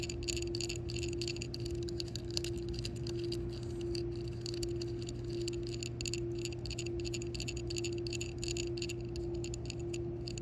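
A round, hand-sized, solid yellow hard-plastic shuffleboard puck (Fri-Glide disc) lying on a rough concrete court is tapped and scratched on its embossed center with long fingernails and fingertips. Quick, light, irregular clicks and scratchy ticks sound over a steady low hum.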